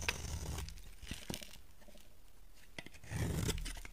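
A box cutter blade shaves thin curls off the edge of a small, solid, dry oval bar of white soap held in one hand over a pile of shavings. Crisp, bright scraping and crunching strokes mix with sharp ticks and a low rumble, loudest at the start and again near the end.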